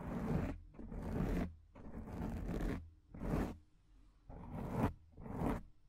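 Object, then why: Foam microphone windscreen. Long acrylic nails scratch the top and side of a soft, porous, medium-size black foam microphone windscreen, using one or both hands. Six separate bursts of scratchy, rustling friction are heard, each with a heavy low rumble and a hiss reaching high, with brief quiet gaps between them.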